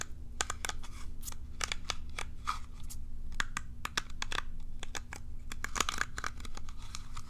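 Long nails scratch across the bristles of a curved plastic cat self-groomer brush held close to the mic. Rapid, dry, bright clicks and crackles fire in quick irregular bursts over a steady low hum, each tick cutting off almost instantly.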